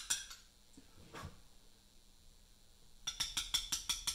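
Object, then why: Mallet striking a steel chisel on a limestone block. A mallet taps a steel chisel cutting letters into a large solid Portland limestone memorial block. A sharp, bright clink opens the clip, followed by a duller knock and a quiet pause. A quick, slightly uneven run of short metallic taps then closes it, each ringing briefly around 3.4 kHz.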